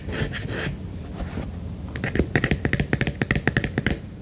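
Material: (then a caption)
Silicone. Fingertips tap quickly on the underside of a white silicone duck night lamp with its base, starting with about two seconds of soft, continuous, muffled rubbing. Then come 17 quick, dull taps, deep-bodied with a little brightness, each dying away almost at once.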